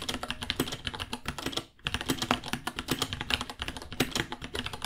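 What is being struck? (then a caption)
Plastic mechanical keyboard. Both hands type with their fingertips on a small white 66-key mechanical keyboard with Gateron Brown switches, white plastic keycaps, a hollow case and pink underglow, priced at $60 and resting on a white desk. Quick, crisp key taps clack steadily with a bright, short-ringing tone and a soft low thock. The typing halts briefly just before the two-second mark, then resumes.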